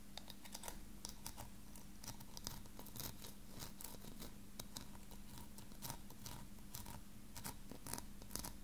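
A small, ornate, hollow silver-coloured metal filigree box with openwork sides is held in one hand and tapped with fingertips and nails. The result is a quiet, continuous stream of quick, bright, dry ticks and light scratchy clicks that die away almost instantly. Underneath runs a steady low hum.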